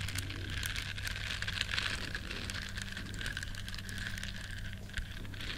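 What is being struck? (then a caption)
Small silicone bristle scrubber. Long nails scratch the bristles of a small, flat, solid yellow silicone duck-shaped scrubber. The result is a continuous, dense, crackly scratching with a bright hiss over a steady low hum, with no gaps between strokes.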